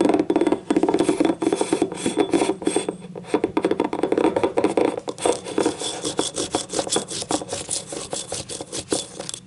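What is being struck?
Small ribbed ceramic cup.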